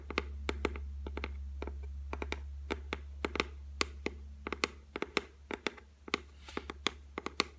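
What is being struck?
Laminated shelf top.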